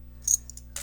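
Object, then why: Silver bullion coin balanced on a fingertip. A silver eagle coin balanced on a fingertip is tapped for a ping test, which judges from the sound whether the coin is silver. The taps give short, bright, high-pitched pings that die away almost at once, over a faint low steady hum.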